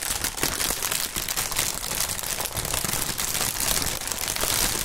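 Gloved fingertips stretch and crinkle clear, hollow, air-filled polyethylene air-pillow packaging. The result is a dense, continuous stream of bright, crackly crinkling at a fairly steady level, with little low-end weight.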